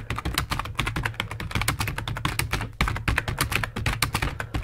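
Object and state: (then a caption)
Plastic computer keyboard. Fingertips of both hands type rapidly on a full-size black plastic computer keyboard resting on a wooden desk. A dense, steady stream of short, bright plastic key clicks and taps runs throughout, each dying away almost instantly, over a constant low hum.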